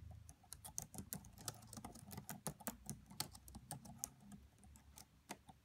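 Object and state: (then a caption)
Plastic laptop keyboard being typed on. Both hands type quietly on a red laptop's black plastic chiclet keys with the fingertips and long French-manicured nails, tapping the keys over its hollow body. The result is a steady, uneven patter of soft, dry clicks, each with a bright tick and a dull low thump, dying away almost at once.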